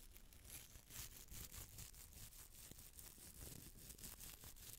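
A small hollow red glass bottle with a textured surface, held in the palm, is scratched with a small bristle brush and long nails. It makes a quiet, steady, dry scratching crackle of rapid, uneven strokes with a bright, hissy edge and a soft low rumble underneath.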